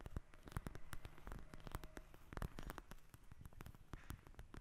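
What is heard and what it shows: Long acrylic nails tap and scratch a flat, soft, flexible eye mask with a pink fabric cover, filled with gel beads, lying on a glass table. A quiet, rapid stream of dull, low-heavy taps and crackly scratches runs throughout, with brief bright clicks and no lingering ring.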